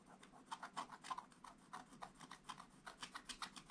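A wooden stylus scratches dense, rapid strokes over the presents area of a flat, black, wax-coated scratch-art paper page in a book. The result is a continuous dry, raspy scratching with a stream of short, irregular strokes, bright and centered around 1 kHz.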